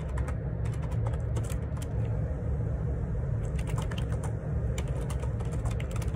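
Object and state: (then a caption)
Plastic computer keyboard. Fingertips type rapidly on the plastic keycaps of a black Perixx Periboard 612 wireless Bluetooth dual ergonomic split keyboard resting on a grey desk. The bright key clicks ripple over a steady low hum that dominates the sound at an even level throughout.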